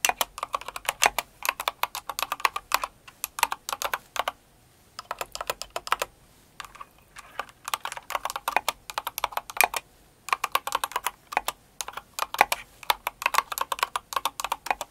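Long acrylic nails and fingertips type quickly on a full-size blue and white Cinnamoroll-themed mechanical keyboard with plastic keycaps. Rapid bursts of sharp, clicky plastic clacks with a bright, midrange-centered tone stop dead with no ring. Brief pauses near 4.5 and 10 seconds break up the typing.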